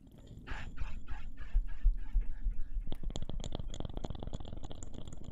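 Fingertips and nails tap and scratch a small, round, solid wooden slice or coaster engraved with a name, held in both hands close to the microphones. First come a series of soft, rhythmic, brushy scratching strokes, then a run of quick, sharp, dry taps with a faint low thump under them.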